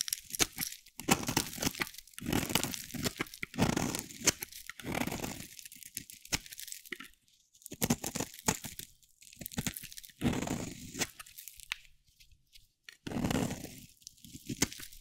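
A metal box-cutter blade scrapes flakes off the surface of a solid green bar of dry soap. Dry, crunchy, crackling scrapes come in repeated bursts with short pauses between them, with a bright rasp over a low, gritty body.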